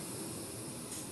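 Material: Nothing is struck.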